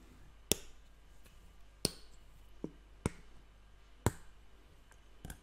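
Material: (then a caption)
Plastic. A hand-held Evian water bottle, clear plastic, about 1.5 L with a blue cap, hollow and partly filled with water, is tapped and scratched with fingertips and nails. Sharp, bright taps with a hollow mid-pitched knock stand out, spaced apart over a faint scratchy hiss. Each tap dies away almost at once.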